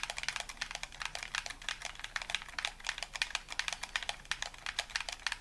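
A hollow white plastic game controller, held in both hands, has its buttons tapped and clicked rapidly with thumbs and fingertips. The result is a steady stream of sharp, dry plastic clicks, bright and crisp with almost no low end and very short decay, centred around 2.4 kHz.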